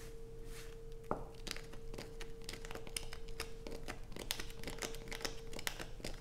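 Long pointed nails dig into and scratch curls off a light-blue bar of soap held in the hands. Rapid, dry crackling scrapes and sharp bright clicks come in quick bursts over a steady low hum, with each sound stopping almost instantly.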